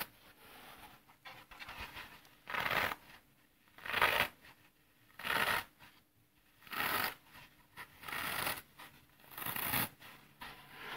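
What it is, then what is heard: Dry floral foam being crushed. A thumb presses into the top edge of a solid, dry green floral foam block held horizontally, crushing the porous foam. Six louder, bright, crunchy bursts stand out at fairly steady intervals, with softer crackling and scratching between them.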